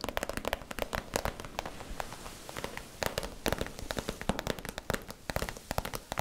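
Long nails tap and scratch the crinkly surface of a small, soft, hollow, iridescent holographic vinyl/PVC zip cosmetic pouch held in both hands near the face. Dozens of quick, sharp, crackling taps come in uneven bursts, with papery scratching filling the gaps between them. The plastic gives a bright, dry crinkle with almost no ring after each tap.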